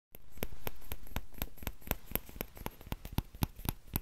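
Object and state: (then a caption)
Plastic ladle. Fingertips tap the empty bowl of a small orange plastic ladle held by its handle, making quick, soft, dry taps at a steady pace of about four per second. Each tap is brief and low with no ring, over a faint hiss that fades as the later taps stand out more clearly.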